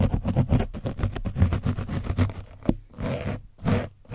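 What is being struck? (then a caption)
Foam microphone windscreen with dried paint. A foam brush is scratched across the top of an orange foam microphone windscreen coated with dried paint. The result is a rapid run of rough, low scraping strokes, then a sharp tap and two slower, airier sweeps.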